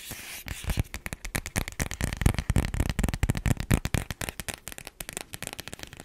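Long black acrylic nails tap and scratch a small, flat printed cardboard album sleeve with a mountain illustration, held in one hand and seemingly empty or thin. About 29 quick, dry taps with a hollow low thud follow one another rapidly. Brief scratchy rasps sit between the taps.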